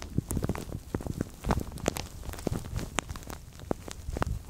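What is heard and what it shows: Hands grip and crinkle a translucent thin plastic bag stretched over a microphone, producing a dense stream of sharp crackles and pops over a close, low, rumbling rustle. Brief bright snaps stand out against the muffled low-heavy handling noise throughout.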